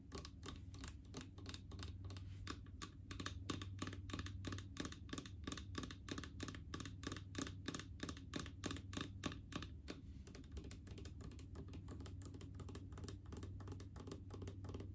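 Long acrylic nails tap rapidly and unevenly on a large, translucent blue plastic mouthwash bottle with a paper-labelled body, full of liquid. The quiet, steady stream of short, dry clicks rides over a constant low hum, with bright ticks at each fingernail strike.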